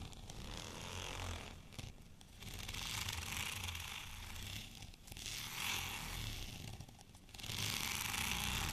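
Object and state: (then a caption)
Textured plastic rolling pin. Fingernails scratch across a white, bumpy, textured plastic rolling pin, making a dense, bright, raspy scraping. The scratching comes in several sustained bursts separated by brief quieter dips, with a faint low rumble underneath throughout.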